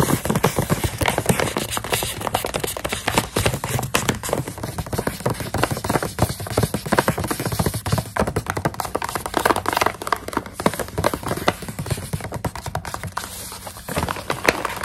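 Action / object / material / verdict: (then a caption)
tap / plastic snack pouch filled with dried coconut strips / plastic / none. Long nails tap rapidly and steadily on the front of a full plastic snack pouch of dried coconut strips. The result is a dense run of short, dry, crinkly clicks and soft thuds with no ring, continuing without pause for about fifteen seconds.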